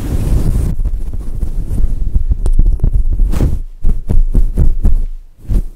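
Long acrylic nails scratch and rub a grey and white fluffy synthetic fur windscreen covering a microphone. The result is a deep, muffled throbbing with almost no high end, briefly brighter at the very start. It starts as continuous rubbing and breaks into separate soft, thudding strokes toward the end.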